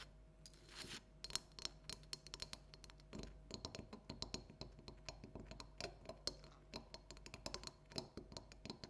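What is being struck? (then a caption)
Hollow plastic pumpkin decoration. Long nails tap and scratch a small hollow orange plastic light-up jack-o'-lantern with an LED light, resting on a table. Many quick, bright clicks with short scratchy strokes, a hollow plastic tone with a steady high ring, each tap dying almost at once.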